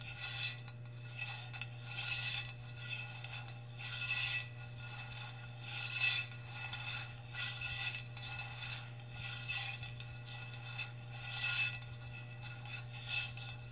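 Long red nails tap and scratch the lower part of a hollow stainless steel tumbler. Bright, thin metallic scraping swells in irregular bursts with soft taps, over a steady low hum.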